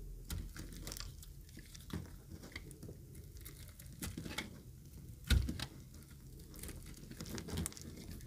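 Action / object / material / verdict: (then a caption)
scrape / bar of soap / soap / none. A thinned, yellow-green bar of solid dry soap is held in the hand and shaved with a utility knife blade. The result is a steady run of soft, dry scraping and crumbling ticks over a low muffled rumble, with one sharper, louder cut about two-thirds of the way through.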